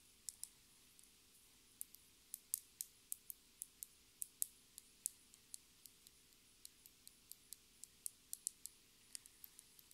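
A small clear plastic lip gloss tube with a gold cap is held in the hands and tapped with long red nails. Around thirty quiet, sharp, bright clicks come at an uneven, unhurried pace, each dying away almost instantly with no ring. A faint steady low hum sits underneath.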